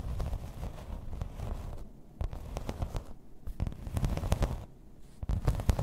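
Long red nails tap and scratch in place on a grey embossed plastic placemat lying flat. The result is a dense run of dull, low-heavy taps mixed with dry, scratchy rustling, with brief quieter gaps between bursts.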